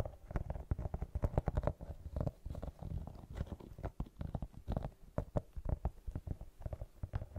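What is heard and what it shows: Long nails rapidly scratch and tap the tread of a brown rubber sneaker outsole with a white rubber rim. The result is a dense, fast run of short, muffled, low thuds and soft scrapes with almost no bright content. The sound stays close and dry with no ring.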